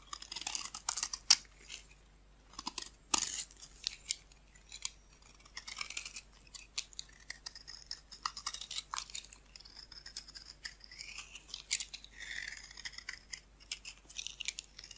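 A solid off-white rectangular bar of white soap, held in the hand, is scraped with a metal blade into shavings. It gives a run of quiet, dry, bright scraping and crisp cutting strokes, with brief crackling bursts and little low end.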